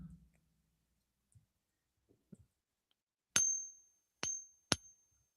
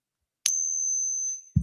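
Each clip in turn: First: copper coin, ping test. Second: Eisenhower dollar, not silver.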